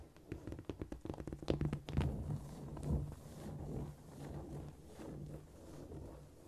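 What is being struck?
Cork floor tapped with fingernails.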